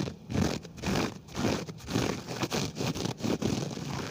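Fingertips of an open hand scratch and brush the pile of a flat grey low-pile synthetic carpet on the floor, beside a small silver mini microphone lying on it without touching it. The result is a run of uneven, fast scratchy rustling strokes, about two per second, with a soft, low-mid body and little bright hiss.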